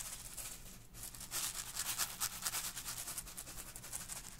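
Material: Plastic.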